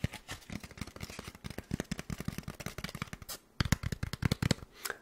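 Fingers tap rapidly on a styrofoam block, producing around thirty bassy, sticky, dull taps with almost no ring. After a brief pause near the middle, the taps return louder and denser, then fade into a soft rustle.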